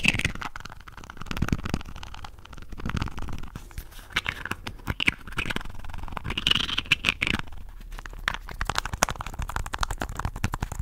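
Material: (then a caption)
Plastic. Fingernails rapidly scratch and rub a small, hollow red and white plastic contact lens case with twin red caps held above the mic. The result is a dense, fast stream of crackly scrapes and sharp clicks, with a bright scratchy edge over a soft low rumble.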